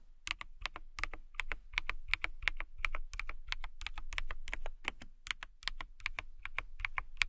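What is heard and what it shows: Long manicured nails type on a clear acrylic mechanical keyboard. The sharp, bright key clacks come in a steady but uneven flurry, each click dying away almost instantly over a faint low hum.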